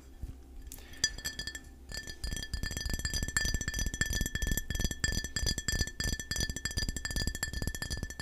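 Fingertips and nails tap rapidly and irregularly on a full, brown glass KeVita kombucha bottle of about 15 oz, with a black cap and paper label, held in both hands. The result is a dense stream of short, bright glassy clinks and clicks over a steady high ringing tone.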